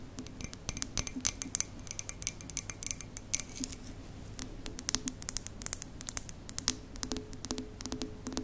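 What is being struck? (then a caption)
Ceramic mug with lid. Long nails tap rapidly and unevenly against the side of a large, hollow white printed ceramic mug with a ceramic lid, held up by its handle. Each tap is a short, bright, glassy click with a high ring that dies away almost at once, over a faint low hum.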